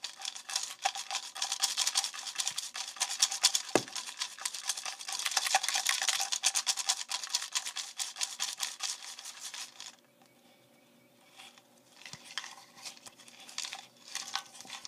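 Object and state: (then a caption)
Plastic jar with paper slips. A clear, hollow plastic jar about 10 cm tall with a yellow plastic screw lid, partly filled with small folded paper slips, is shaken and tumbled with both hands. The paper slips rattle inside in a dense, bright, rapid patter for about ten seconds. The sound then drops to quieter, sparse rustles and clicks as the jar is turned or its lid is handled.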